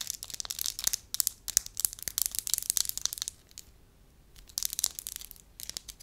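A palm-sized, solid beige soft wax slab is pressed, crinkled and scratched with long lilac nails and fingertips. Bright, crisp crackles and clicky scratches come in dense bursts, separated by a brief quieter lull near the middle.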